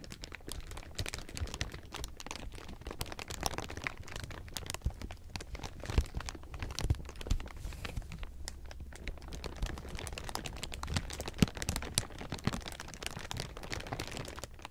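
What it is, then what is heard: Crumpled clear plastic sheeting. Fingertips grip and crumple a large pile of thin, clear plastic sheeting, producing steady, dense crinkling for about 15 seconds. Many short, sharp crackles rise over a soft, low rumble, with occasional louder pops.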